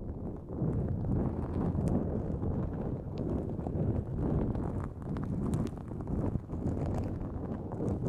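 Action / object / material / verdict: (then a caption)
scrape / nonwoven fabric drawstring bag / nonwoven fabric / none. Long nails scratch a pink-white, mesh-like nonwoven fabric drawstring pouch pulled over the microphone. The result is a dense, muffled, low-pitched rustling that runs continuously with uneven swells and only faint high edges.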